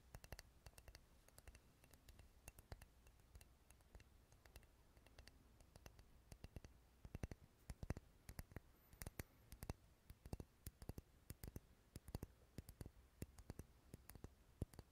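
Fingernails tap and scratch a hand-sized, solid purple wax pillar candle with a textured surface. The result is a rapid, irregular stream of sharp, dry clicks that decay almost instantly, with soft scratching between them over a quiet low hum.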